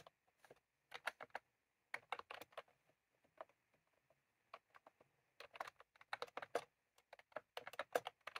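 Fingertips of both hands type continuously on a full-size plastic computer keyboard with round cream typewriter-style keycaps, resting on a desk. Quick, crisp clicks come in uneven bursts with short pauses between them, each click dying away almost at once, over a faint steady background hum.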